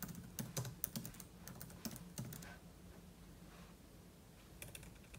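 Fingertips type quickly on a silver aluminum laptop keyboard with plastic keys. The result is soft, irregular, sharp clicks in a busy burst over the first two seconds, then a quieter stretch with a few more taps near the end. A steady low hum sits underneath.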